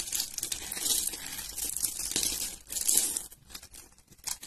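A solid pale yellow bar of dry soap, grid-scored and held in the hand, is cut and scraped by a metal blade, breaking off small cubes. Crunchy, crumbly scraping and snapping sounds, bright and hissy, come in dense bursts. They quiet into sparser crackles toward the end.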